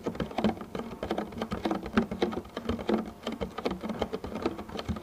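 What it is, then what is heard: Empty plastic food container. Fingertips with short painted nails tap and pat across the surface of a medium, clear, thin plastic clamshell food container that lies hollow and empty on its side. The result is a rapid, uneven patter of light, hollow taps with a low plastic resonance around 230 Hz. Each tap dies away almost immediately.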